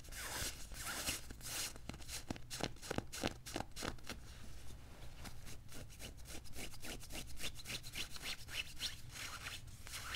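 Fingertips and nails scratch and rub fast over the padded sleeve and cuff of a worn beige quilted nylon puffer jacket. Dense, rapid bright rustles and scrapes come in quick bursts over a steady low hum.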